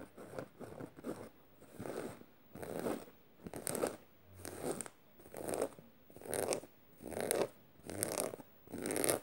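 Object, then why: Canvas tote bag with metal studs. Fingernails scratch and pick at the metal studs and fabric of a black studded canvas tote bag lying flat, with a beaded bracelet on the wrist. The result is a quiet series of rough, crackly scratching bursts, about one a second, with a mid-range body and a faint bright hiss on top. Short silent gaps separate the bursts.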